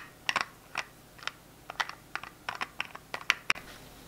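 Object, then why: Plastic hand sanitizer bottle with flip-top cap. A small translucent plastic hand sanitizer bottle is held in the hands while fingers click its flip-top cap open and shut. About a dozen short, sharp plastic clicks and snaps sound, each bright with almost no low end, peaking around 2.3 kHz and dying away almost instantly, over a faint steady hiss.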